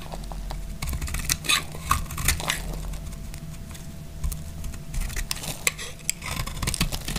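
A hand-sized, solid green marbled bar of dry soap is held in the hand and carved with a utility knife blade, the crunchy scraping cuts shaving off flakes. Irregular, dry, crisp scrapes and crackles with bright, brittle edges come in quick bursts, over a low rumble and a faint steady tone.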